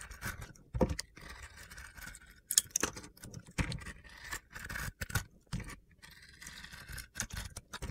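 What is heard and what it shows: A metal box-cutter blade shaves crunchy flakes off the edge of a dried, crumbly white opaque soap bar, coated with pink and blue glitter and gold star sequins and held in the hand. The result is a series of short, gritty scraping and crunching strokes with sharp, bright crackles and brief pauses between them.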